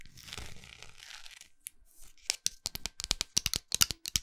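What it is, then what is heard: Wax pillar candle scratched with nails. Long acrylic nails scratch a large, solid orange wax pillar candle with a textured surface, including near its labeled bottom. A soft, hissy scraping rustle fades into a brief pause, then gives way to a quick, irregular run of sharp, bright scratchy ticks with almost no ring.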